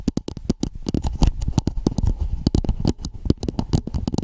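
Long painted nails tap and scratch a hollow red plastic dome-shaped cap with a ridged rim, placed over the microphone. A quick, irregular stream of short, dull, hollow taps, heavy in the lows, stops almost instantly after each hit, with soft scratchy rustling in between.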